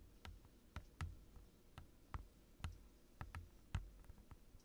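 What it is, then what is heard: Clear plastic desk mat. Fingertips and short nails of both hands tap rapidly on a large, thin, transparent glossy plastic desk mat with curled edges lying flat on a dark desk, close to the microphone. About eleven quiet, irregular taps are heard, each a short, dull low thump with a faint crisp click that dies away almost instantly.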